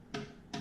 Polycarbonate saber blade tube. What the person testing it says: you can hit yeah you can hear the hollow sound